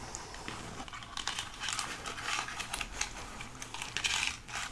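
A life-size white plastic skeleton hand prop is held close up while long acrylic nails tap and scratch along its molded plastic finger bones. The sound is a dense run of bright, crinkly clicks and scrapes that keep swelling and fading over a quiet low hum, with no clear pauses between them.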